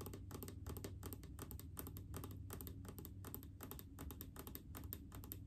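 Long painted fingernails rapidly tap on a large blue plastic mouthwash bottle full of liquid. The result is a quick, steady stream of short, dull plastic clicks with a low, hollow body around 300 Hz and bright fingernail ticks on top.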